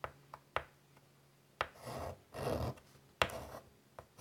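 White chalk is drawn across a large, flat, wood-framed chalkboard in short, scratchy strokes. Sharp chalk taps alternate with a few longer, rasping scrapes that have a mid-pitched, gritty tone and a bright edge.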